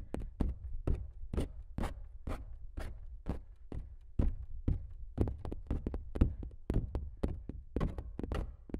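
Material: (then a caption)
Canvas. Fingernails on both hands scratch and tap the coated surface of a large stretched canvas print that is hollow behind. The result is an uneven run of dull, low thumps, about two per second, each with a brief bright scratchy click and almost no ring.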